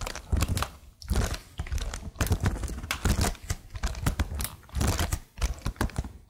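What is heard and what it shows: Long nails and fingertips tap and press the stickered keys of a plastic laptop keyboard in quick bursts. The result is a dense stream of crisp clicks and clacks over a soft low thud, broken by short pauses.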